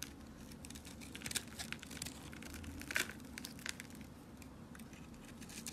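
A box cutter blade shaves a dark, solid bar of soap held in the hand, producing a steady, dense crackle of bright, crisp scraping and crumbling. A few sharper crunches stand out above the texture along the way as the blade cuts off crunchy crumbles of soap.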